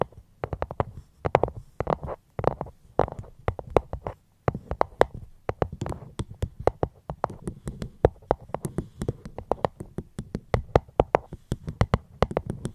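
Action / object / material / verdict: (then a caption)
tap / fruit box / unknown / none. Gentle fingertip tapping on a fruit box held close to the microphone, in quick, uneven runs of short taps with a brief pause just after four seconds. Each tap is a dry, crisp click over a soft low thump with a hollow mid tone, and it dies away almost instantly.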